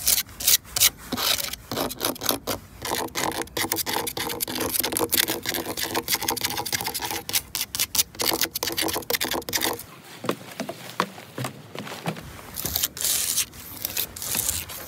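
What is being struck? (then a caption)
Wooden deck boards scratched and tapped with fingernails. Long pointed nails scratch and tap quickly along the grain of grey, weathered, cracked wooden plank boards on a solid playground platform. A dense run of bright, dry rasping and short sharp ticks goes on with almost no low end, easing into softer rubbing for a couple of seconds before the fast scratching picks up again.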